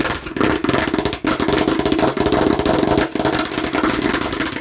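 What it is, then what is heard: Plastic watermelon-slice container. Long nails on both hands tap fast on a hollow, hard plastic watermelon-slice container with a red cap. They make a dense, steady stream of bright, clicky plastic taps with a hollow ring. The tapping pauses briefly about a third of the way through and again near the end.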